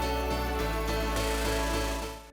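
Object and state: Nothing is struck.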